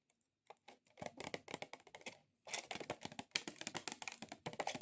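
Long acrylic nails tap quickly on a plastic object, making fast, bright, clicky taps much like typing on a keyboard. The tapping comes in dense bursts, with a brief pause before a second run.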